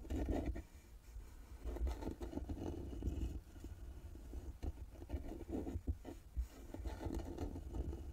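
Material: Wood.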